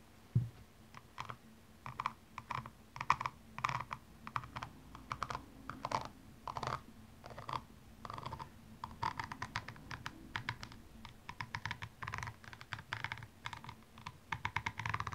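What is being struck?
Rhinestone-covered high-heel shoe.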